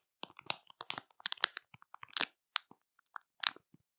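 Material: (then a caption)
Plastic. Long matte nails tap, press and scratch a full plastic marshmallow bag, working the plastic over the soft marshmallows inside. The result is a quiet series of crisp, bright crinkles and crunchy taps in irregular short bursts, each dying away almost instantly, with no low end.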